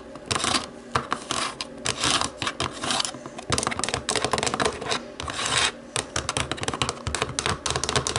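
Long nails tap the rubber buttons of a small, hollow black plastic remote control. The result is a steady run of quick, bright, dry clicks that come in short dense flurries, each tap fading almost at once.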